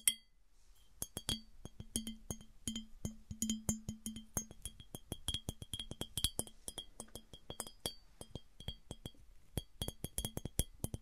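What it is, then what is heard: Smooth glass piggy bank. A smooth glass piggy bank is tapped with fingernails in a quick, uneven series of short, sharp clinks. Each tap has a low knock and bright ringing tones that fade almost at once.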